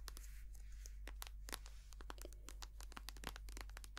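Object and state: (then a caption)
Plastic cream tube. A partly full white soft plastic cosmetic cream tube is squeezed, tapped and scratched with long nails, making a quick, quiet string of sharp clicks and crinkly, crackling scrapes. A steady low hum runs underneath the whole time.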